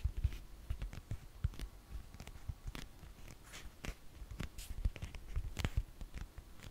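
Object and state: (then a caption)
Foam orthopedic insole. A black foam orthopedic insole, held upright, is tapped and scratched with long fingernails. Soft, dull, low thuds come in an irregular patter, mixed with brief, bright, scratchy strokes that die away almost instantly.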